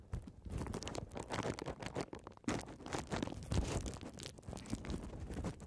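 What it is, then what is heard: Plastic bubble wrap. Long red nails scratch, tap and pop the air-filled bubbles of a folded strip of clear plastic bubble wrap held horizontally. The result is a dense, continuous run of crackly scratching and quick taps, broken by sharper pops with a soft low thump beneath.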